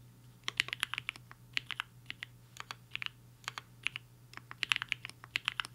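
Fingertips of both hands type on a HI-FINGER 7.5, a black-cased 75% mechanical keyboard with a hollow case and white and pink plastic keycaps, resting on a desk mat. Quick, irregular bursts of sharp, bright clacks stop dead after each press, over a faint, steady low hum.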